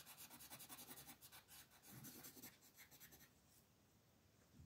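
A light green wooden colored pencil rubs across a thin white paper coloring sheet on a wooden desk in quick back-and-forth coloring strokes, while the other hand, with red nails, steadies the paper. The strokes make a bright, scratchy, rhythmic rasp that pulses with each pass, then stop after about three seconds, leaving only a faint, quiet hiss.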